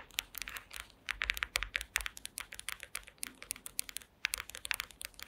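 Long green acrylic nail tips tap rapidly on a woven wooden slat mat, producing around thirty quick, dry, bright clicks in uneven bursts with brief pauses. Each tap is sharp and dies almost instantly, centered around 2.3 kHz with little low end.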